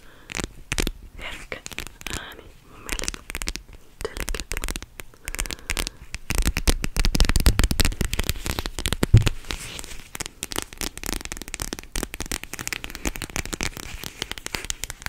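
A flat, palm-sized clear plastic cooling pad with a teal rim, filled with gel beads, is held close to the mic and scratched and tapped with long nails. The result is a dense, irregular run of crackly scratches and soft taps with a heavy low thump from the close mic. The sound grows busier and louder through the middle before settling back into lighter crackling.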